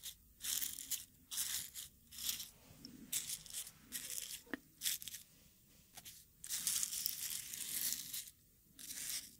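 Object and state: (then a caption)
Wooden mortar and pestle grinding dried rose petals. A wooden pestle grinds dark dried rose petals in a small, hollow wooden mortar that is partly filled. Bursts of dry, bright crunching and crinkling come in uneven strokes, with an occasional sharp click, and quiet pauses between them.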